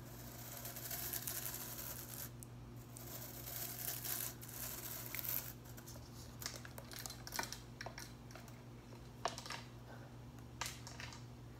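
Long nails flick and strum the tips of blue plastic broom bristles held upright, making a dense, crinkly, scratchy rustle that is bright in the highs. Sharper snapping flicks stand out in the second half, over a steady low hum.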